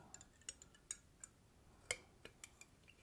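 Fingernails tap an empty, clear, hollow glass chimney from a hurricane oil lamp held in the hand. They produce a quiet, irregular series of short, bright, high clinks with very little ring between them.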